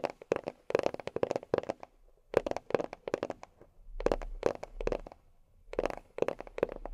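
A box is tapped with long fingernails in quick bursts of short, dry clicks. Each click is crisp with a midrange tone around 490 Hz and almost no ring. Brief pauses separate the flurries, and a faint low rumble sits underneath.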